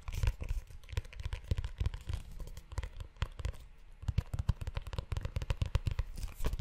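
Fingertips and short nails scratch and tap the cover and ridged spine of a closed, brown leather-bound notebook. The result is a rapid, irregular run of soft, dull thumps mixed with crinkly, crackling scratches, mostly low and muffled, with each tap dying away almost instantly.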